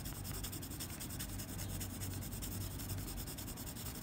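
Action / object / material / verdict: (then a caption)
scrape / graphite pencil tip on a sheet of drawing paper / paper / none. The graphite tip of a blue mechanical pencil rubs and scratches across a flat white drawing paper sheet in dense shading strokes. A continuous, dry, scratchy rasp with a bright hiss pulses rapidly and steadily over a low hum.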